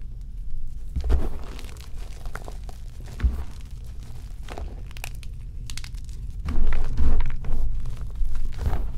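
Two hands dig into a bowl filled mostly with powdered white gym chalk (magnesium carbonate), squeezing and rubbing the powder and the last small lumps. Soft, dense crunching and crinkly rustling runs throughout, with brief louder crunches near the start and a stronger, busier stretch of squeezing toward the end.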